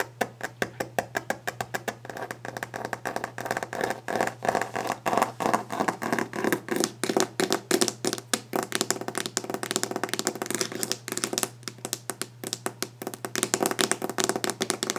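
Fingers tap a wooden desk fast and aggressively, with scratching on the wood. Roughly ninety short, dry knocks come in a rapid, uneven stream, each dying away almost at once. A steady low hum sits underneath throughout.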